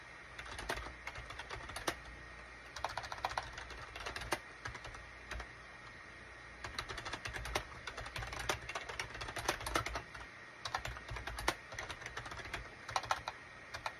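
Fingertips type on a full-size gray and cream SHIPADOO K600 wired USB plastic keyboard with a hollow plastic case, resting on a desk mat. Bursts of quick, light clicky keystrokes with short, dry taps and a bright clatter are broken by brief pauses, over a faint steady hum.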